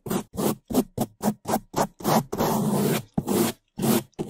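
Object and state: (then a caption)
Foam microphone windscreen brushed. Gloved hands scrub bamboo toothbrushes over the top and sides of a black foam microphone windscreen. The result is a fast series of short, loud, brushy scraping strokes with a longer sustained scrub near the middle, full-bodied in the low-mids and fading into airy hiss.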